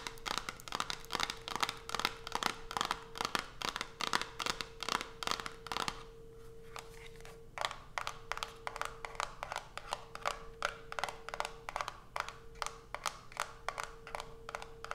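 Long nails tap rapidly on the top of a small white cardboard soap box with the soap inside, then tap and scratch the box as it is lifted and held in hand. The sound is a dense run of short, dry, bright clicks and scratchy rustles with almost no ring, broken by a brief quieter pause. A steady low-mid hum runs underneath throughout.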